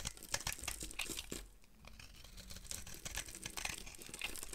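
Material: Soap.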